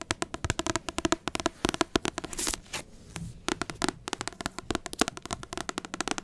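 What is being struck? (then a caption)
Paperback book with glossy card cover. Long acrylic nails tap rapidly on the glossy card front cover of a large paperback book, making a steady stream of sharp, dry clicks that stop almost instantly. Around the middle, the taps give way to a brief softer brushing sweep and a quiet pause before the quick tapping resumes.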